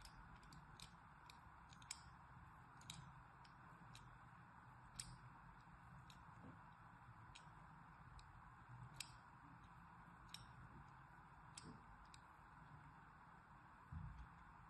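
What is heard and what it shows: A thin needle, held by a hand with long manicured nails, scratches and scores lines into the surface of a solid, hand-size pink and white striped soap bar held in the other hand. Quiet, dry scraping is punctuated by a scattered series of short, sharp, bright ticks and clicks that die away almost instantly, over a soft, steady low background hum.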